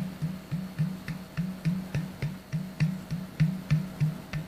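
Fingertips tap on the top and neck of a hollow, clear plastic Sodastream bottle of about 1 liter, held in the other hand. A steady series of soft, hollow taps, a little over three per second, each a low resonant thump with a faint bright click. Each tap dies away almost at once.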